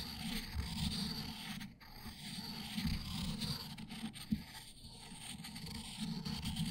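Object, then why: Stone inkstone with ink stick. An ink stick held in the fingertips is ground in circles on a round, solid, palm-sized black stone inkstone with a well holding some liquid ink, while the other hand steadies the stone. A continuous low, gritty rubbing scrape rises and falls with each circular stroke, with a brief lull near two seconds and a sharp tick midway through.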